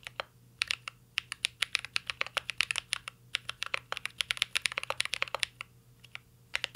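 Fingertips of both hands type continuously on a mint green Cyberboard R3 mechanical keyboard with a metal case and plastic keycaps. Dozens of sharp, bright clacks come in a quick, uneven rhythm, with a short pause near the end. Each keystroke stops dead with no ring, over a faint low hum.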